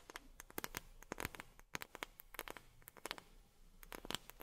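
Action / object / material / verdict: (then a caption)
tap / wooden object / wood / none. A wooden object is tapped with long fingernails in a quick, irregular run of light taps. Each tap is a sharp, dry, bright click that stops almost instantly with no ring, and the whole run stays quiet and close.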